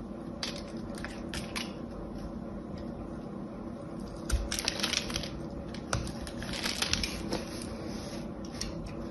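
A solid cream soap bar with a gold coating, held in the hand, is scored and scraped across its surface with an orange utility knife. Soft, crisp scratching and crunching runs steadily throughout, with bright clusters of sharp scraping strokes around the middle and later in the clip over a low background hum.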